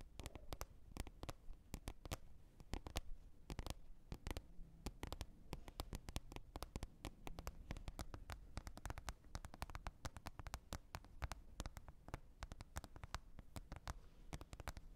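A green plastic container lid with a small raised tab is tapped with long red nails. A steady stream of quick, sharp clicks and light patters runs throughout, each tap dying away almost at once over a soft, low, hollow thump.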